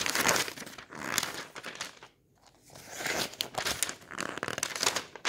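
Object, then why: Glossy paper catalog. Fingertips roll, rub and flip the thin pink and purple pages of a glossy paper toy catalog lying open on a table. They make a bright, dense paper crinkling with brief crackles. The sound fades to a near-silent pause around two seconds, then the rustling builds again.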